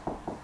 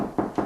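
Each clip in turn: First: Three short, dull knuckle knocks on drywall, a low-mid thud with no ring, marking the solid spot over a stud. Second: Two dull, low-mid knocks with a boomy hollow body; drywall over an empty cavity, no stud behind.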